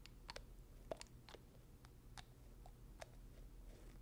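Fingertips twist the black plastic dropper cap on a small, filled amber glass serum bottle. The result is a scatter of soft, dry clicks and faint crunchy ticks with bright edges, each dying away almost instantly over a quiet, steady low hum.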